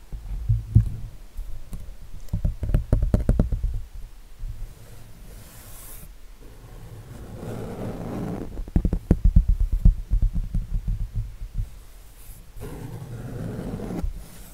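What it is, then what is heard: Acrylic-painted canvas. Fingertips and nails scratch and tap the textured acrylic paint of an eagle painting on a flat canvas held upright in one hand. Quick bursts of dull, low, thumping taps alternate with softer, steady scratching across the surface. The taps die away almost instantly, leaving a muffled, bassy patter with little brightness.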